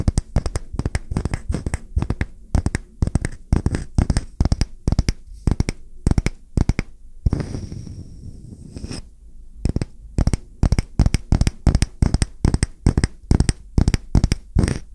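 Fingertips and short nails tap and scratch a solid round wooden coaster held flat, making rapid, dry, clicky taps with a low, dull body and almost no ring. In the middle, the tapping pauses for a steady scratching rasp before the quick tapping resumes.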